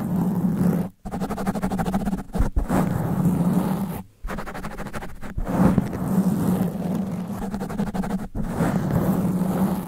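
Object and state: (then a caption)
Foam microphone windscreen being scratched. Long black nails scratch fast over a sponge foam microphone windscreen, one hand at a time. The result is a dense, rough, muffled scratching with heavy low rumble and a steady hum near 190 Hz. The scratching is briefly interrupted by short pauses around one and four seconds.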